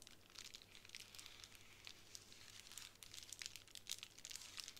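Long nails and fingertips scratch and press a small square of clear plastic bubble wrap lying flat on a wooden table. The result is a quiet, bright, crinkling scratch dotted with many tiny crisp ticks and soft crackles, and it grows a little louder toward the end.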